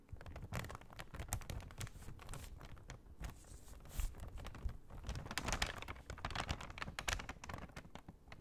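An empty brown kraft paper shopping bag with red Michaels print is held up and tapped and scratched with long painted nails. Quiet, dense papery crinkles, taps and scratches run continuously, with low thuds and bright crackly bursts throughout.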